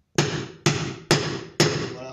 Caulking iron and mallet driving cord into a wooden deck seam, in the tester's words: quand on entend un bruit sourd, c'est-à-dire que le fond de joint est au fond